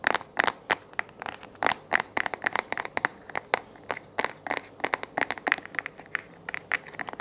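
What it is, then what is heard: Plastic lamp base tapped and scratched with nails. A hollow white plastic desk lamp base is held in the hands while fingernails scratch and tap it, then it is turned over to show the underside. About thirty quick, dry taps and scratchy clicks follow one another, each ringing around 1.8 kHz with bright crackle on top and almost no low end. The hits die away instantly against a quiet background.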